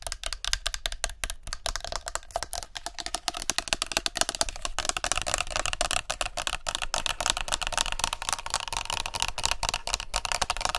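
A plastic body mist spray bottle is held sideways near the microphones and tapped fast with long nails along its body and cap. The result is a rapid, dense stream of sharp, hollow plastic clicks with a bright, crisp edge and a very short decay.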